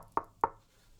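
Two quick knocks on the cabinet of a Bowers & Wilkins 606 S2 bookshelf speaker, a more expensive speaker with a finished material, each giving a short, dull tap centered around 900 Hz that dies away almost at once. Compared with the Fosi SP601, it sounds similar but less thin and light, suggesting a more solid cabinet.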